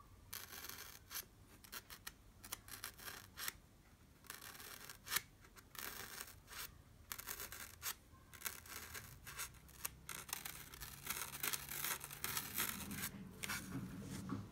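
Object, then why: Styrofoam block poked by a pencil tip. A sharp blue wooden pencil repeatedly pokes and taps into a white, solid styrofoam block with a beaded texture. The result is an irregular series of short, bright, scratchy squeaks and crunches with almost no ring, sitting over a low, quiet background.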